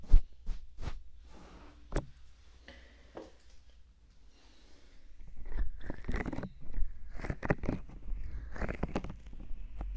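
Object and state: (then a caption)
Silicone microphone ear. Hands with long manicured nails cup, rub and tap the two soft white silicone rubber ears, ear-sized and mounted on the black rigid body of a 3Dio FS binaural microphone, using fingertips and palms. Sparse, muffled low thumps and soft scraping in the first half give way to denser crunchy rubbing and booming taps.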